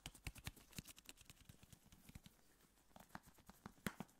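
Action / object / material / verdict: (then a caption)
tap / metal aerosol can / metal / none. A tall, hollow, pressurized metal aerosol can of shaving foam, held close to the microphone, is tapped with gloved fingertips. About twenty quick, soft taps in an irregular rhythm make dull low knocks with brief bright clicks that die away almost instantly. One louder tap lands near the end.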